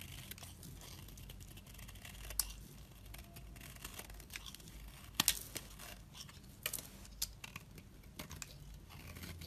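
A utility-knife blade scrapes thin slices and fine fringed shavings from a solid orange bar of soap held in fingers with glitter nails. Quiet, bright, crisp scraping and crinkly crackling are punctuated by sharp, short clicks over a steady low hum.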